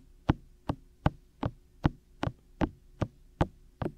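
Fingertips from both hands tap and lightly knock on the white, hollow silicone ear shells of a 3Dio microphone in a steady pattern. Ten short, dull, low thuds sound at an even pace of about two and a half per second, each dying away almost at once over a faint, steady background hum.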